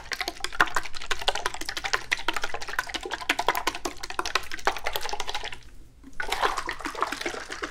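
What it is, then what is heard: Metal tin with liquid sloshing inside. A small yellow-and-red printed antique metal tin, hollow and partly filled with liquid, is held in one hand and shaken so the liquid sloshes inside. Dense, rapid splashing and clinking taps sound off the thin metal walls. They pause briefly near the six-second mark before resuming.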